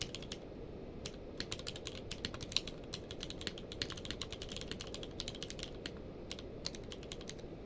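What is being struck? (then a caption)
Plastic mechanical keyboard. Both hands' fingertips type rapidly on a full-size plastic mechanical keyboard with a blue-grey case and white and grey plastic keycaps, lying on a blanket. Dense, short, bright clicks and clacks overlap in quick bursts over a steady low rumble, with a few sharper louder strikes standing out.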